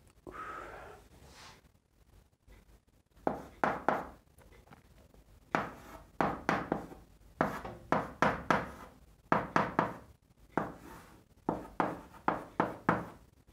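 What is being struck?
Chalk on a chalkboard.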